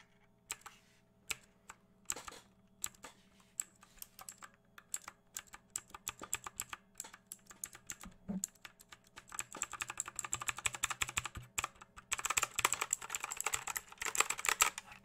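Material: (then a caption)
Plastic. Fingertips scratch and tap across the plastic keycaps of an RGB-backlit mechanical keyboard. Sparse, sharp, bright clicks build into dense, rapid clattering as the hand moves quickly over the keys. Each tap is short and dry, with a steady low hum underneath.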